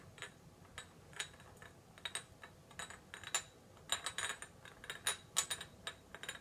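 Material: Ceramic.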